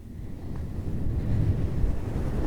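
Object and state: Nothing is struck.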